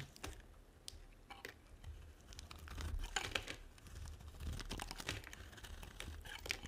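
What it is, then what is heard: Dry soap bar being shaved. A small metal blade scrapes and carves thin flakes off the surface of a solid, dry, hand-sized white soap bar held in one hand, piling the flakes up behind it. The sound is a quiet run of dry, crackly scratching and shaving strokes, with many short bright bursts over a low background rumble.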